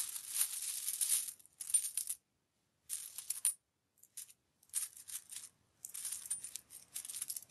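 Fingertips rake and shuffle through a large loose pile of mixed US coins (copper-colored pennies and silver-colored nickels, dimes and quarters) resting on a white cloth. The solid metal coins clink against each other in bright, high, jingling bursts separated by short silences, with almost no low end.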